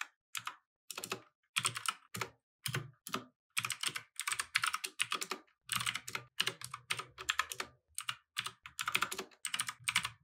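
Both hands type with their fingertips on a compact mechanical keyboard with plastic keycaps, resting on a wooden desk. Bursts of quick, bright, clicky keystrokes with very short decay come in uneven runs separated by brief pauses.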